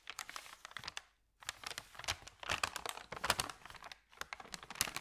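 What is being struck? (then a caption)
Thin paper bag. Fingertips rub and press a thin, empty, flat white paper sandwich bag, producing dense, bright crinkling and crackling with quick, sharp snaps and very little low end. The crinkling comes in bursts, with a brief full silence just after the first second and a short lull near the four-second mark before it resumes.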